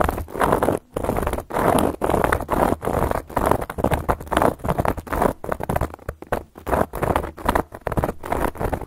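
Long gold metal claw nail caps scratch across a solid, round, flat cork board in quick repeated strokes. The scratching comes in short bursts separated by brief pauses, with a dry, muffled, mid-range rasp and very little bright top end. Each stroke stops dead with almost no ring.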